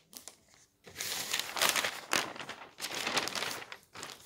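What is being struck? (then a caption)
Newsprint newspaper pages. A hand lifts and flips the thin newsprint pages of a paper newspaper lying on a table. The result is bright, crinkly rustling that swells in several loud bursts with short quieter gaps between them, with almost no low end.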